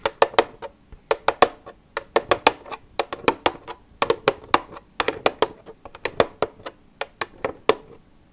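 Long red nails tap the side of an empty, hollow white plastic milk jug with a green cap. About thirty quick, dry taps come in an uneven rhythm, each a sharp click with a hollow mid tone near 550 Hz that dies away almost at once, over a quiet background.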